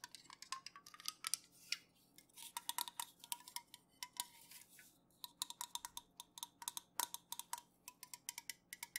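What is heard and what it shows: Long nails tap rapidly across the metal top, rim and sides of an unopened, full Pepsi-Cola aluminum can as it is held and tilted. The result is a quiet stream of dozens of bright, dry metallic clicks and ticks that die away almost instantly, with a brief pause partway through.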